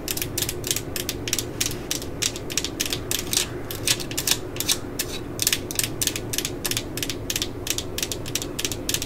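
A hollow yellow plastic cordless drill body with a label is held and tapped quickly with long glitter nails. The taps come as a steady run of dry, bright clicks with a ratchet-like chatter, peaking around 3.5 kHz over a low background. Each tick dies away almost instantly.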